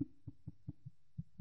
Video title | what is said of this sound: Sens du tissu | dans l'autre sens le bruit est un peu plus sourd